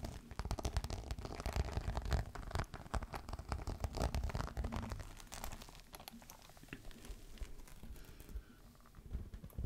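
Fingernails scratch a green crocodile-embossed faux leather clutch, first held upright and then laid on the table. Dense, rapid, dry scratching and crinkling sounds, heavy in low rumble, are louder in the first half, then settle into a softer, steadier scrape with a brief louder flick at the end.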